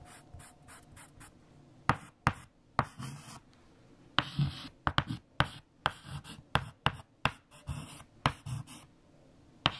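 A hand writes digits with a white chalk stick on a large flat black chalkboard. Scratchy strokes are punctuated by sharp, bright taps of chalk against the board, with quiet pauses between them.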